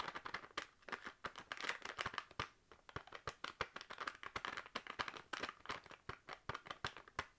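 A full, sealed plastic crisp packet is crinkled and tapped with fingernails, giving a rapid, uneven run of sharp crinkly taps over a bright, rustling plastic texture. The sound is quiet and thin, with almost no low end, and each tap dies away almost at once.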